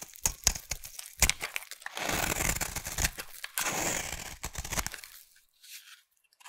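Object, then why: Soap bar. A utility knife blade shaves a solid pink bar of soap held in the hand. It starts with a run of sharp, crunchy little cuts, then moves into two longer, bright scraping strokes as curls peel away. The clip ends with a few faint scrapes fading into near silence.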